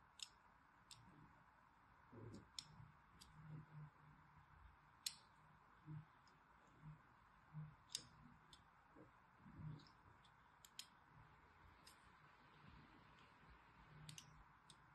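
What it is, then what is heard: Bar of soap being scored. A solid green bar of soap, held in the hand, is scored in a crosshatch pattern with a thin needle tool. The quiet scratching comes through as a series of sharp, bright, high clicks and ticks that die away almost instantly, over soft, low, muffled thumps.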